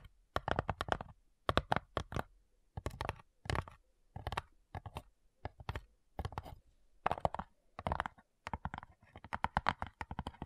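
Long nails and fingertips tap the top lid of a small, hollow, light-wood cigar-style box with brass clasps. Quick bursts of dry, clicky taps come in clusters with brief pauses between them. Each tap has a hollow wooden knock around 700 Hz and dies away almost instantly.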